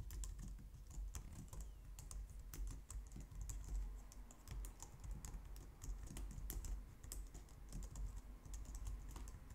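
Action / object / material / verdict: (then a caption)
tap / plastic computer keyboard / plastic / none. Both hands type on a white plastic low-profile wireless keyboard, striking the keys with long painted nails and fingertips. A steady, quiet stream of light, bright plastic clicks and taps patters over a low, soft rumble.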